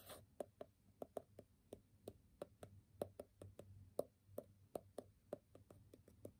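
A graphite pencil point taps and scratches rapidly on the covered top sheet of a small, square, solid stack of brown kraft paper sticky notes held in the hand. About 22 quick, dry, quiet taps land at an uneven pace, each with a short, woody mid-pitched knock near 570 Hz and a faint bright scratch. Each tap dies away almost instantly.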